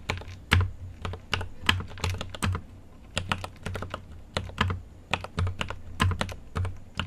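Right-hand fingertips type on a GMMK Pro mechanical keyboard with an aluminum case and plastic keycaps, a microphone sitting nearby untouched. It produces a steady, uneven run of sharp keystrokes, each a bright plastic clack over a deep, low thock that fades quickly. Occasional heavier presses stand out from the quieter taps.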